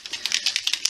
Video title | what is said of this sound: #Dephemerember 2023 Halloween meets Christmas hosted by @luiseheinzl and @49dragonflies | starts rattling you shake it properly